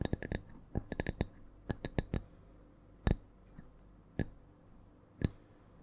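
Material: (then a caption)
Wood. A thin, solid round slice of wood with a bark edge is held flat above the microphone and tapped with the long nails of both hands. Fifteen short, dry clicks land in quick clusters at first, then spread out slowly in an uneven rhythm. Each tap has a bright attack with a low, woody knock beneath it and dies away almost at once.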